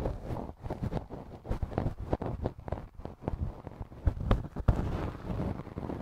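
A wooden earpick makes repeated scratching strokes inside the soft, hollow canal of the left silicone ear model on a binaural microphone. The strokes come across as close, muffled, low rustling scrapes with short sharp clicks, the loudest of which land near the end.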